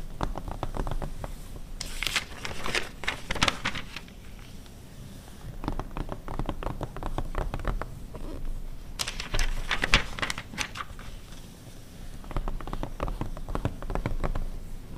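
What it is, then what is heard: Glossy paper magazine. An open glossy paper car magazine from 2009 has its pages tapped and scratched by long red nails, with pages turning. Bursts of dry crinkling, crackly scratches and quick taps rise and fall between quieter rustling. Sharp bright clicks sit over a low, soft paper rumble.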